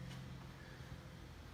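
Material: Nothing is struck.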